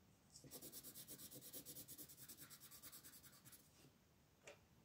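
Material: Paper.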